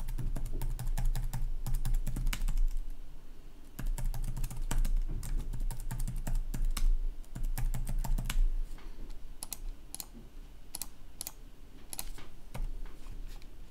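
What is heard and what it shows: Fingertips type fast on the keys of a red backlit black plastic laptop keyboard, producing rapid, irregular bright clicks. A steady low hum sits underneath for the first eight seconds, then fades, leaving the clicks sparser and quieter.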